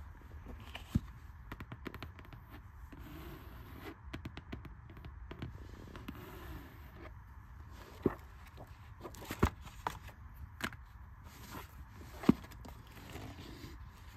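A green cloth hardcover book lies flat on carpet while fingertips and long red nails tap and scratch its cover, then scratch along its edge. Soft, dry, irregular taps and scratchy rustles sit over a low steady hiss, with a few sharper clicks standing out.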